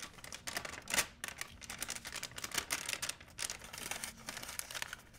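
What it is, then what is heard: Plastic shopping bag crinkled. A large, empty, white printed plastic shopping bag is stretched flat and crinkled by fingers. It makes dense, bright, crisp crackling throughout, with louder bursts around one second and again near two and a half seconds. The crackles are dry and short, with almost no low end.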